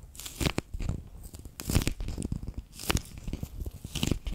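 A handheld bear-shaped clear PVC pouch full of water beads is squeezed and crinkled at its edge and ears between fingers and nails. Soft, low squelching presses mix with bright plastic crackles and crinkles, rising in short bursts and fading quickly.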